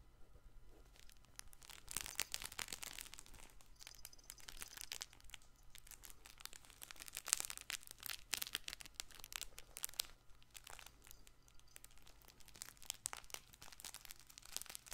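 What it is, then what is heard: Fabric soft toy ball. Fingertips scratch and squeeze the surface of a colorful stuffed fabric baby ball with a small ring attached, close to the mic. A dense run of bright, crinkly, crackling scratches comes in uneven bursts over a faint steady low hum.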